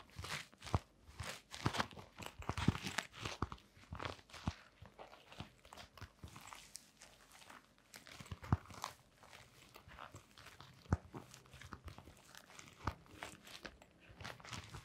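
A blue glitter canvas sneaker with a rubber sole is held sideways while long nails scratch across its fabric upper and rubber rim. Dense, dry scratching and crunchy strokes come in quick bursts, with sharp ticks over a soft, low rustle. The sound stays quiet and close throughout.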